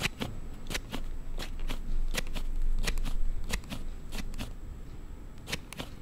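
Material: Hard plastic.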